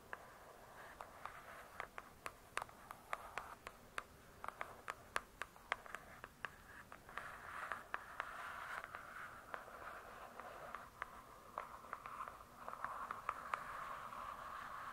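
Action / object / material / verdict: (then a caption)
tap / hardcover book with glossy cardboard cover / cardboard / none. Long acrylic nails tap and scratch on the glossy paper-covered cardboard cover of a large hardcover book lying flat. Dozens of short, sharp, dry taps that stop instantly ring out over a soft, steady scratching hiss centered around 1 kHz. The sound is quiet and close, with almost no low end.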